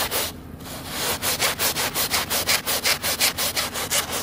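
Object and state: Woven rug being scrubbed with a brush.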